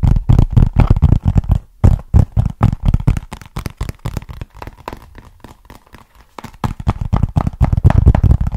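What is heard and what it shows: Fingertips tap and scratch the face of a small, flat, hollow brown cardboard box held in both hands. The result is a rapid, irregular run of dull, boomy low thuds with faint dry scratching between them. The taps soften to a quieter scratching stretch midway, then return loud and fast.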